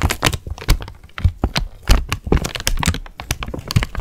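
A thin sheet of white tissue paper is crumpled and crinkled with both hands close to the microphone. Rapid, irregular bursts of crackling and crinkling run throughout, with bright papery rustle over soft low thumps from handling.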